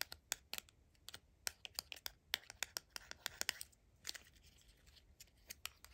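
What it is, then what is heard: Miniature cardboard candy box. A small, hollow red printed cardboard candy box from the Mini Brands toy line is held in the hand and tapped and scratched with long acrylic nails. About two dozen quick, dry, high-pitched clicking taps come at an irregular pace, mixed with faint scratchy rustling. There is almost no low end, and each tap stops instantly.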